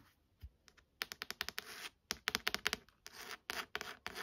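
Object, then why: Hardcover book with textured leather-like cover. Long nails tap and scratch the textured, leather-like embossed cover of a solid, burgundy leather-bound hardcover book with gold lettering. Quick, dry, bright clicks arrive in rapid clusters with short scraping strokes between them. Each tap dies away almost instantly, leaving little low-end body.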